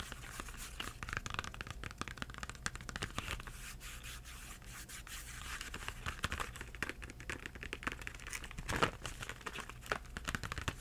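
Fingertips scratch and tap the front and edge of a small Crayola cardboard crayon box with crayons inside. The result is a quiet, steady stream of dry papery scratching and crinkling, broken by light tapping clicks with short, dull thumps underneath. A brief, slightly louder burst of scraping comes near the end.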